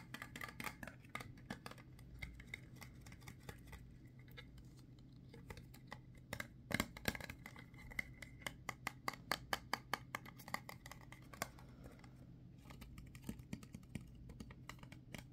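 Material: Plastic.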